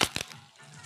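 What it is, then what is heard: Fresh, crisp artichoke. Outer leaves are snapped off a fresh artichoke while it is being cleaned, giving four short, crisp cracking snaps in two quick pairs followed by quiet. The crisp crack shows the artichoke is fresh; a limp one would make no sound as its leaves come off.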